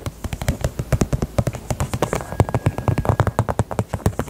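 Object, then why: Small faux leather purse with zipper. Long nails tap rapidly on the zipper side of a small, hollow pink faux leather heart purse held sideways. About thirty-four quick, soft, hollow thuds sound in a steady, slightly uneven rhythm, each low and muffled with a faint bright click and almost no ring.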